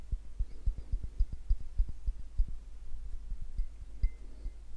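A clear, hollow glass tumbler partly filled with an orange drink is held in the hand and tapped with fingertips and nails close to the microphones. About ten soft, dull, low taps die away almost instantly over a steady low hum, with a faint high clink here and there.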